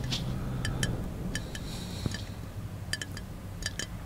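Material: Glass.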